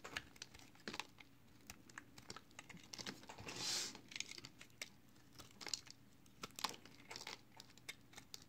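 A hand-held, palm-sized, solid green and yellow marbled recycled soap block is shaved and scraped with a utility knife blade, with soap flakes piling up below. Quiet, dry, crisp ticks and short crackly strokes sound in irregular bursts, mostly bright and without ring. One longer, louder rasping scrape comes just before the middle.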